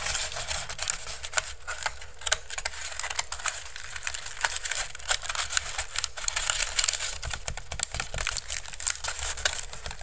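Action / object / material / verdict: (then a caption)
tap / woven bamboo basket / bamboo / none. Fingertips and nails quickly tap and scratch the weave of a hollow, empty pink woven bamboo basket held over the microphone. The result is a dense, fast stream of dry, crackly, bright clicks and scrapes with no ring, over a steady low rumble.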